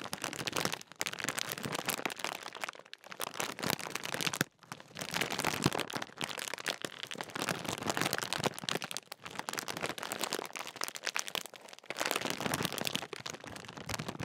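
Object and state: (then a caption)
Plastic foil crisp packet being crinkled. Fingertips crinkle and squeeze a large, sealed, full Walkers crisp bag made of metallised plastic film. The result is dense, bright, crisp crackling in bursts, broken by brief near-silent pauses around 1, 3, 4.5, 9 and 12 seconds.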